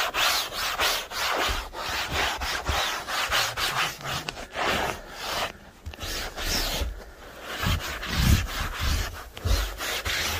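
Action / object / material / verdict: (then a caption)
scrape / woven fabric sofa cushion scrubbed with a bristle brush / fabric / none. A hand-held horsehair brush with a wooden handle scrubs briskly back and forth across the gray woven fabric of a soft, padded cushion on a dirty sofa. The bristles give a steady run of bright, scratchy rubbing strokes with soft, dull low thumps under some of them.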